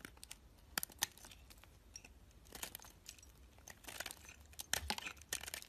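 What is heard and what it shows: A metal box-cutter blade shaves a solid white soap bar with a green edge into chunky flakes. The sound is quiet, bright, crisp crackling and scraping, with sharp clicks and short crunchy bursts as the flakes break away.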